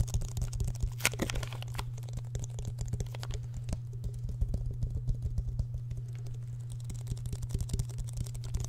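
A hand-sized, hollow clear plastic bottle with an orange screw cap is handled close in front of a microphone, tapped and squeezed with fingertips and nails. Quick, light clicking taps and occasional crinkly squeezes follow one another over a steady low hum.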